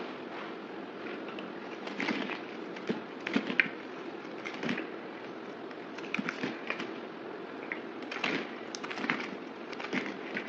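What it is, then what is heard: Bar soap being shaved. A solid oval white bar soap with printed lettering is held in the hand, shaved and scraped with a yellow box cutter blade, and turned between cuts. Quick, dry, crackly scraping strokes and sharp bright flicks repeat over a steady soft hiss, with little low end.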